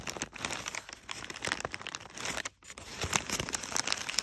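A hand with short nails squeezes and scratches bunched, crumpled folds of brown kraft packing paper. Dense, crisp crinkling and crackling fills the clip with bright, high-weighted rustle and sharp little snaps, with almost no low end. The sound drops to a brief near-silence around the middle before the crinkling picks up again.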